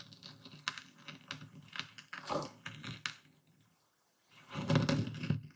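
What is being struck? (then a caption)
Coarse epsom salt in a wooden bowl under a stone pestle. A full wooden bowl of coarse white epsom salt crystals is ground with a dark speckled stone pestle, moved in circles and tilted through the crystals. Close, gritty crunching and scraping repeats in short bursts, goes quiet for a moment near the four-second mark, then returns louder in a heavier grinding swell.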